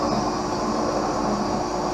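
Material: Nothing is struck.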